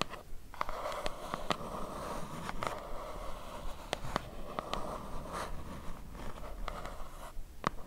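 Long nails scratch and tap along the printed side of a small, hollow, white cardboard box held in both hands. A steady, dry scratching with a papery midrange hiss around 1 kHz is broken by sharp, brief taps and clicks that die away almost instantly, in an uneven rhythm.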